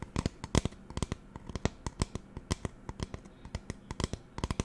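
Fingernails tap quickly on the body of a hollow pink plastic spray bottle with a white trigger head. Some two dozen short, dry clicks with bright edges and almost no ring come in an uneven, rapid series, over a low hum.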